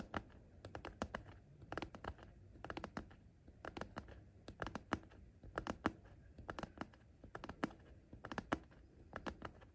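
Short painted fingernails tap quickly on the top of a patterned, hollow, soft fabric zippered pencil case, along the zipper. Rapid, soft clicking taps come in quick bursts separated by brief pauses, each tap dying away almost instantly.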